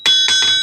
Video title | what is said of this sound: GOLDRUSH TOWN, one guys private wild west!!!! | a good Anvil Rings hear that true if it goes thud or bang boom like that it's not much good